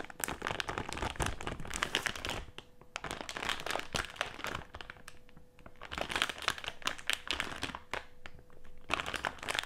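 A medium printed plastic-film Haribo gummy candy bag with gummies inside lies flat on a table and is pressed, crinkled and scratched with fingertips. Bursts of bright, crackly crinkling come in waves separated by brief quieter pauses, with a faint steady tone in the lulls.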